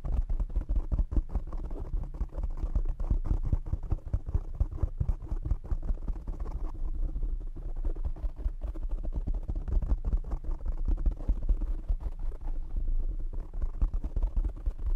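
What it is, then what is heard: Foam microphone windscreen being tapped. Fingertips and short nails rapidly tap on a black foam windscreen fitted over a condenser microphone. The result is a dense, continuous stream of muffled, deep thumps with a low rumble underneath and almost no high end. Each tap dies away almost instantly.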